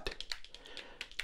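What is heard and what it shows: Fingertips tap on the hard plastic body of an old camera from the 1980s. A quick, uneven run of light, dry clicks follows, each bright and sharp with almost no ring, over a faint low rumble.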